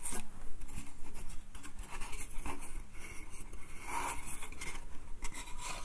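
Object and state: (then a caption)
Wooden slatted crate. Fingertips and nails scratch and tap the slats of a small, hollow, light pine slatted crate printed with "bath," held in the hand. A dry, rasping scrape runs throughout, broken by light, quick taps that die away almost instantly with a faint hollow body.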